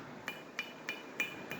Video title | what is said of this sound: Comparing stock Hellcat driveshaft to Redeye/Demon drive shaft | you got a thicker wall thickness on the secondary, the tail section of that drive shaft